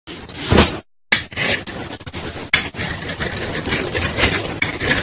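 A metal knife blade scrapes and shaves along a solid, palm-sized white bar of Lifebuoy soap held in the fingers over a bowl of soap shavings, cutting off white powdery flakes. Dry, bright scraping strokes rasp in a steady series, broken by a short silence near the start and a few sharper cuts.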